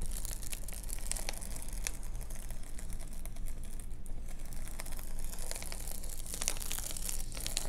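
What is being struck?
Metallized bubble-foil sunshade.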